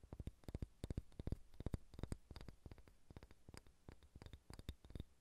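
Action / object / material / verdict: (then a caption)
tap / wooden ball / wood / none. A large, solid, unfinished wooden sphere held in both hands is tapped with long red-painted fingernails. The result is quick, irregular clusters of quiet, dull, low knocks, each with a short clicky edge that dies away almost instantly.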